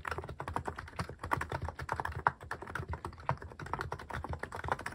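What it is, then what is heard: Mechanical keyboard with plastic keycaps being typed on. Fingertips type steadily on a cream mechanical keyboard fitted with sculpted plastic cat and paw keycaps. A fast, continuous stream of short, dry clacks, each with a soft low thump and a mid-range click, with very little high-end sparkle.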